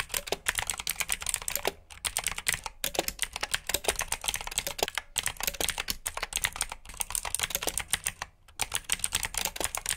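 Both hands type with their fingertips on a black backlit mechanical keyboard with plastic keycaps. Rapid, bright, dry clicks and clacks run steadily, broken by a few brief pauses. The longest pause falls near the end.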